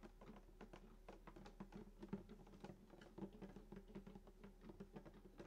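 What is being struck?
Acoustic guitar wooden body.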